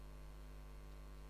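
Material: Nothing is struck.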